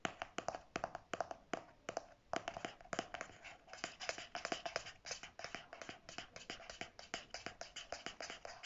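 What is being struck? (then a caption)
Plastic flip cap of a squeeze tube. Natural fingernails tap and scratch the clear or white hard plastic flip cap on the end of a pink conditioner squeeze tube, held at an angle over fabric. It makes a steady run of quick, dry, clicky taps with a faint hollow tone around 680 Hz. Light scratchy rasps fill the gaps between taps, and each tap dies away almost instantly.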